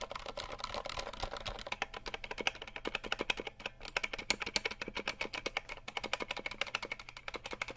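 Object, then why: Plastic mechanical keyboard keys. A compact 60% RGB mechanical keyboard with plastic keycaps, held in the hand, is tapped and typed on quickly with the fingertips. It makes a rapid, steady stream of short, dry, bright plastic clicks with almost no ring. The clicks have a sharp tone around 2.4 kHz and very little low end.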